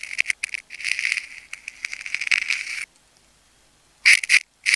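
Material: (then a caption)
Plastic tape. A metal craft knife blade cuts and scrapes into a palm-sized solid ball of wound plastic tape with pink and clear layers, held by fingertips. Dense, bright, crackly scratching bursts with a focus around 2.4 kHz fill the first three seconds, then a silence. Sharp, louder crackling snaps follow near the end.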